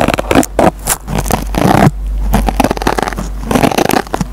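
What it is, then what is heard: Scouring sponge scratched. A metal pencil tip scratches and picks at the green nylon scouring pad of a dry, hand-sized yellow foam Scotch-Brite sponge, pulling fibers loose. The result is a series of rough, crackly scraping and tearing bursts, mostly low and muffled, with a steady low hum underneath.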